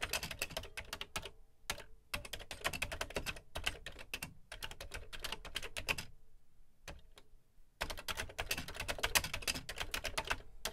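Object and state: Plastic computer keyboard being typed on.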